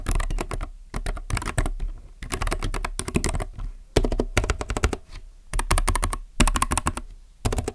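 Fingertips type on a plastic mechanical keyboard in quick bursts of clacking keystrokes separated by brief pauses. Each key press has a short, crisp click over a deeper thocking body, and the sound dies away quickly between strokes.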